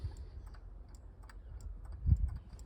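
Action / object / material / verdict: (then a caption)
shake / water pump bearing and pulley, metal / metal / loose. A removed water pump from a Range Rover L405 5.0 supercharged is rocked by its pulley, and the play in its worn metal bearing makes quiet, low, muffled ticking clicks that build to a louder knock near the end. The bearing is worn and needs replacing; this play is the source of the knocking noise on the car.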